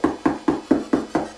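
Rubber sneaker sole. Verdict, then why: Hard. Six knocks on a hard, stiff basketball sneaker sole, each a short hollow rap, pitched near 280 Hz, that dies away quickly, like knocking on a door. The sole is too hard and unsuitable for standing while cutting hair.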